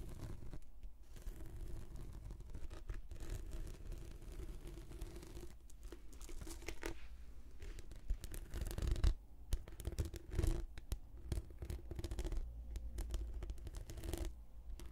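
Long nails scratch a rolled, translucent, textured plastic anti-slip mat held diagonally as a hollow tube. The result is a steady, quiet stream of dense, dry, short scratching and rasping strokes over a heavy low rumble, with a few louder scrapes around the middle.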